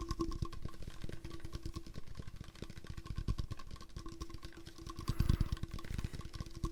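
A hard plastic water bottle is tapped in a quick, continuous series of soft, dull taps that are mostly low and thuddy. A steady faint tone hums underneath throughout, and the tapping grows briefly louder and denser around the five-second mark.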